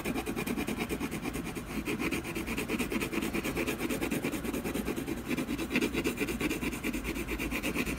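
A colored pencil shades a tree trunk on a solid canvas panel with repeated scratching strokes. The result is a steady, dense rasp of quick overlapping strokes, with a low-mid body and a brighter scratchy edge throughout.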